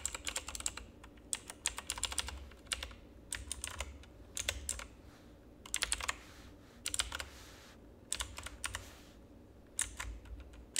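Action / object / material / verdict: tap / plastic mechanical keyboard / plastic / none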